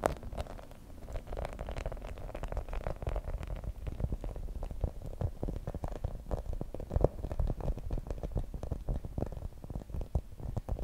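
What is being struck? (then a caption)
Rubber spiky massage ball. Long nails scratch and tap across the spikes of a hand-sized grey rubber spiky massage ball. A dense, continuous stream of soft, muffled ticks and rubbery rasps sits mostly in the low range, with quick clicks that die away at once. It stays steady at a quiet level, with a few slightly louder taps near the middle.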